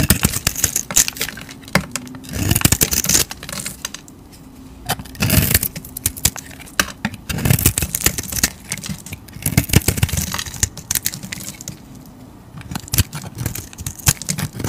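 A utility knife blade scrapes and shaves the layers off a solid rectangular soap bar with a patterned, glittery outer layer and striped opaque and translucent layers inside. The sound is a run of crisp, bright scratching strokes in uneven bursts. A faint, steady low hum runs underneath.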